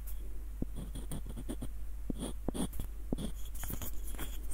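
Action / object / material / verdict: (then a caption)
scrape / small wooden screw nutcracker / wood / none. Fingertips and short nails scratch the ribbed screw threads and tap the hollow body of a small light-wood screw nutcracker with a dark wooden knob. Quiet, dry scratching mixes with soft, dull, quickly fading taps over a steady low hum.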